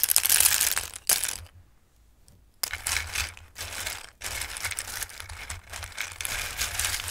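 Hands dig into and stir a full bowl of raw, dried Christmas pasta shapes, so the pieces clatter and rustle against each other in bright, crisp bursts. A brief near-silent pause comes about a second and a half in, then the dense shuffling rattle resumes in uneven waves.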